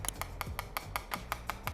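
Eleven quick, sharp taps land on the plastic charging case of dBe Seikabuds Elite ANC TWS earbuds in a steady rhythm, each a crisp, dry click with almost no ring. The taps test the build quality, and the case's finish comes across as dense and solid rather than flimsy.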